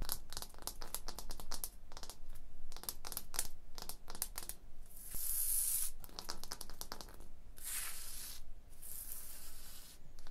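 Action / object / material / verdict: scrape / limestone block wall / limestone / none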